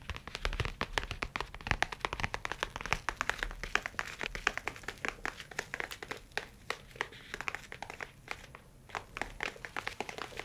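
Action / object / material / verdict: tap / leather tablet case / leather / none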